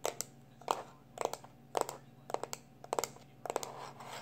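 A small black plastic external hard drive, held in one hand, has its casing rubbed and scratched with the fingertips and short nails. About thirteen short, dry scratchy bursts come mostly in quick pairs roughly every half second, with a mid-range body and bright crackly edges. A faint steady low hum runs underneath.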